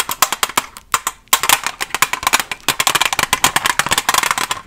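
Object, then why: Plastic blister pack on a cardboard backing. Long nails covered with paperclips tap rapidly on a Staedtler pencil package, a plastic blister on a cardboard back holding pencils. The result is a fast run of sharp, bright plastic clicks centered around 1 kHz, each dying away almost instantly, with a brief slower patch about a second in.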